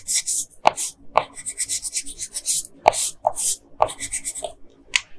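A yellow wooden colored pencil, held in a hand with long pink nails, rubs and scratches across a printed paper coloring sheet lying flat on a dark desk. Bright, papery scratching strokes come in quick bursts, broken by sharp dry ticks each time the pencil tip strikes the page, with no ringing after.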